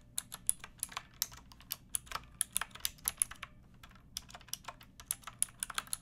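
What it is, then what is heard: Plastic mechanical keyboard. Fingertips with long nails type on a pink backlit mechanical keyboard with plastic keycaps, resting on a wooden block. A steady, irregular run of short, bright clicks and clacks sounds with almost no ring, over a faint low background hum.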